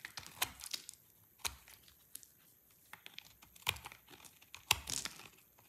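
A utility knife blade carves a solid, dry green soap bar into flakes and chunks. Crisp, bright scraping and crunchy cuts come at an irregular pace, with a few sharper snaps standing out between quieter shaving sounds. Flakes and chunks break away from the bar with each pass of the blade.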